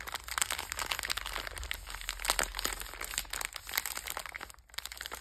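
A sealed purple Bisbox biscuit pack with a metallized plastic wrapper, about hand length and full of sandwich cookies, is held in both hands and squeezed and crinkled by fingertips with long red nails. It makes a steady, bright, dense crinkling full of sharp little crackles. The crinkling briefly drops almost silent near the end before picking up again.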